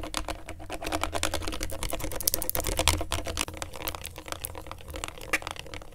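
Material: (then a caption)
Plastic. A pen tip traces and scratches over the rubbery colored buttons and face of a small, thin, hollow plastic LED remote control held in a gloved hand. The result is a dense, uneven stream of quick, dry clicks and scrapes with bright high edges, over a steady low hum.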